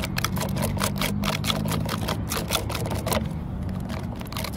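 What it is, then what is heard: Weathered wooden stump surface. Long fingernails scratch and tap along the grain lines of a solid, cracked, weathered wooden stump top in a public park. The result is a rapid series of crisp, bright clicks and dry scrapes over a steady low hum.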